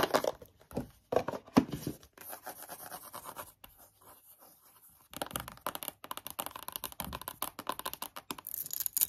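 A long, rectangular, hollow white cardboard watch box is held upright in both hands and tapped and scratched with long yellow-painted nails. Loud, dry taps open the clip, then softer scratching takes over in the middle. A fast, chaotic run of crisp, short taps and scrapes fills the end.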